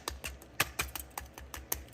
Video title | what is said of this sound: COOKING VLOG 👩‍🍳-- A DAY IN THE LIFE 🏡 -- MOMMY OF TWO BOYS 👨‍👩‍👦‍👦 -- THE BOGARTS 💕 | You guys hear the crispiness? This is how crispy it is.